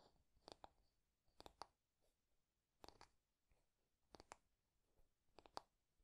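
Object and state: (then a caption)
Wooden hairbrush being tapped. Fingertips and nails tap and scratch along a wooden hairbrush with a solid wooden handle and body. Eleven quick, dry taps come in small clusters of two or three. Each has a short woody knock and a bright clicky edge, separated by quiet pauses.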